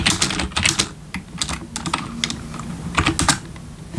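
Bare fingertips of both hands type on a full-size black plastic membrane gaming keyboard with RGB backlit keys resting on a wooden desk. Quick bright plastic taps come in dense bursts at the start and again near the end, with sparser keystrokes in between. Each tap dies away almost at once over a soft low thud.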